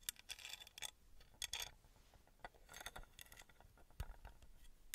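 Long red nails tap and scratch the sides of a small engraved copper-colored metal pyramid held close to the microphone. Quiet, bright clicks and raspy scraping bursts come in irregular clusters, each dying away almost instantly with little ring. A soft, low thud lands near the end.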